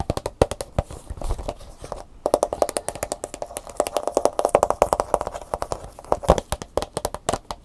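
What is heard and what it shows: Long nails rapidly tap the back, the plastic edge and the front bubble of a plastic blister pack with a cardboard insert. The result is a fast, uneven run of crisp, dry clicks with a hollow plastic tone around 600 Hz. Each tap dies away almost at once.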